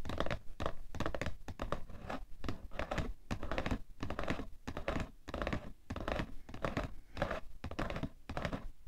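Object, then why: Cardboard tissue box. Fingernails scratch and tap the printed top and edge of a cardboard tissue box. Dense rasping scratches mix with quick, dull taps, heavy in low thump with little high brightness. Each tap dies away almost at once.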